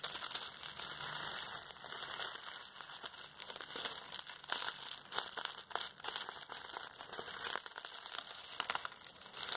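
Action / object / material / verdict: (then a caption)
scrape / plastic bubble wrap roll / plastic / none. A large, hollow roll of clear plastic bubble wrap is held in both hands while the fingers squeeze and rub its surface, crinkling the bubbles. The result is a steady, bright crinkling and crackling with many sharp, quick snaps and almost no low end.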